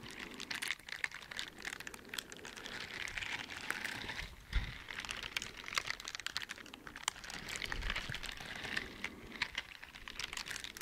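Fingers in teal silicone dishwashing gloves with bristled palms, worn on both hands, flick and rub the bristles together close to the microphone. The result is a dense run of quick, dry, bright ticks and crackly rustling centered around 2 kHz, with a few louder snaps standing out.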